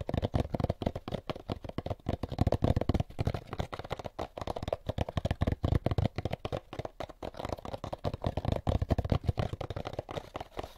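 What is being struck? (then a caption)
Molded paper pulp egg carton. An empty molded paper pulp egg carton is held end-on in both hands while fingertips tap and scratch along its sides. Quick, dense, dull papery taps and scratchy rubbing sound in rapid bursts for the whole clip, mostly low and soft with little bright content.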